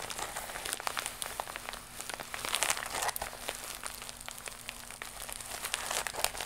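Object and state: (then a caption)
Plastic mailer pouch scratched with fingernails. Long acrylic nails of both hands scratch a flat, iridescent, croc-embossed holographic plastic mailer pouch held against the chest. The result is a continuous, bright crinkling and scratching texture dotted with quick, sharp ticks, with a faint steady low hum underneath.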